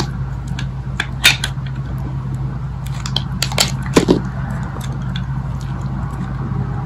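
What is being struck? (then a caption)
Bar of soap scraped with a thin metal blade. A hand-sized solid green bar of dry soap, held in the palm, is shaved with a thin metal blade, and crunchy slices are scraped off its surface. The shavings fall onto a pile of soap pieces. Sharp, bright crackling scrapes come in short bursts over a steady low hum.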